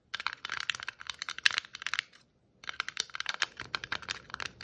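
Long nail tips tap and scrape the shiny and glittery stripes of a hollow red and white striped plastic Christmas ornament ball. The result is a dense run of quick, bright clicks and scratchy ticks with no low end. The sound pauses briefly for about half a second midway, then the tapping resumes.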